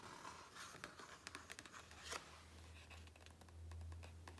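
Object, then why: Hardcover book with glossy paper pages. Fingertips and nails scratch and rub across the glossy paper page of a large open hardcover book lying flat. Quiet, dry scratches and crisp, bright ticks come in quick, uneven bursts over a steady low hum.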